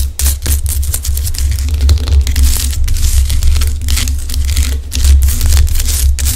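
Long acrylic nails tap and scratch a large solid pink Himalayan rock salt lamp, with fingers moving over its top. Bright, crisp scratching and quick tapping bursts sit over a steady low hum that runs through the whole clip.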